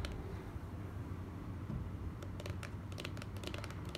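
A small, hollow, closed white cardboard gift box is tapped quickly with the long nails of both hands. Bright, dry clicks come in rapid clusters, mostly in the second half, over a steady low rumbling hum.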